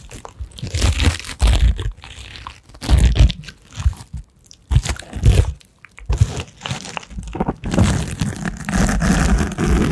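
A small, rectangular, apparently solid purple case covered in glittery rhinestones is held close to the microphone and scratched and rubbed with tiny rubber hands worn on the fingers. The result is crunchy, scraping bursts with a heavy low-end rumble, coming in uneven waves separated by brief quiet gaps.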